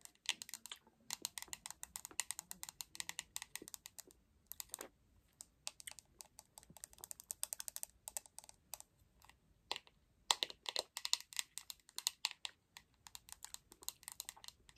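Long acrylic nails tap fast on the hollow molded back of a hot pink glossy plastic paddle hairbrush held in one hand. The taps are crisp, dry, high-pitched clicks that die out instantly, coming in rapid bursts separated by brief pauses.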